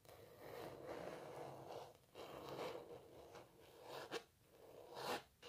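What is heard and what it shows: Long natural nails scratch across the textured surface of a canvas painting of a cellist, stretched fabric over a frame. Four rasping, breathy scratching passes come through at a quiet level, with a midrange body and bright hissy edges, the last two ending in sharper scrapes.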